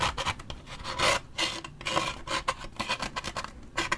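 A large waxed paper drink cup with a lid and straw is scratched with a toothpick and fingernails, first along the side and then near the top. The result is a run of dry, bright rasping strokes that swell and fade in quick bursts, with a faint tone around 1 kHz and little low end.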